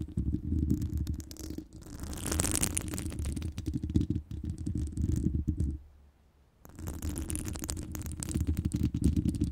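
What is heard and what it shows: Long pointed nails on both hands scratch over the hollow, round woven metal wire grille of a microphone. The result is a dense, low, rumbling scrape with crackly bright texture on top. It pauses briefly near the six-second mark, then resumes.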